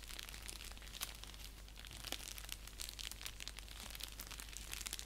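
Fingertips and nails scratch an orange padded paper mailer envelope lying flat, making a steady stream of crisp, bright crinkling and scratching with sharper spikes throughout. A constant low hum sits underneath.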